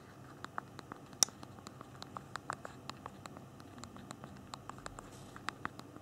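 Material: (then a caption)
Plastic. Thumbs tap the small plastic keys on the physical keyboard of a handheld BlackBerry phone while typing. Short, sharp, high clicks come at a sparse, uneven pace over a quiet, faint hiss, with one louder click standing out early on.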